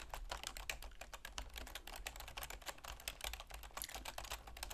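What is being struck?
Plastic computer keyboard.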